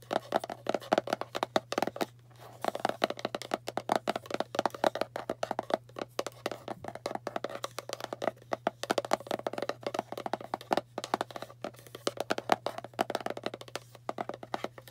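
Long painted fingernails fast-tap the side wall and lid of a hollow, cylindrical kraft cardboard box held sideways. The result is a dense stream of short, dry, hollow clicks with a resonant tone around 700 Hz, pausing briefly near two seconds. A faint steady low hum sits underneath.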